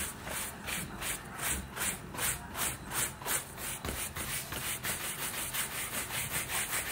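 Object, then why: Leather boot scrubbed with a bristle brush. A wooden-backed bristle shoe brush is rubbed and scrubbed back and forth over the upper of a grey-green lace-up leather boot, which is worn on a foot and held steady by one hand. The boot sounds hollow under the brush, giving a steady run of bright, scratchy brushing strokes at a brisk, fairly even pace.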